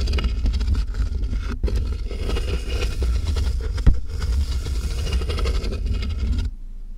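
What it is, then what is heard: Cardboard box being scratched. Long nails scratch rapidly across the taped top of a large, hollow cardboard box, producing a continuous low, boomy rumbling scrape with one louder bump partway through. The scratching stops abruptly near the end, leaving a faint low hum.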